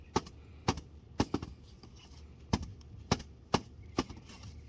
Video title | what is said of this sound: My Air Filter after a GLAMIS trip! Can Am x3 | There's so much sand in here. I can hear it when I shake it.